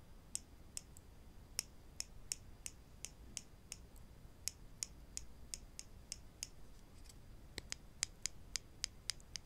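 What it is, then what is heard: Wooden clothespins. Two small, solid wooden spring clothespins are held in both hands and tapped or clicked against each other with the fingertips. About 24 short, dry clicks sound with a high, bright tone at an irregular pace. Each one stops almost instantly over a quiet, low background hiss.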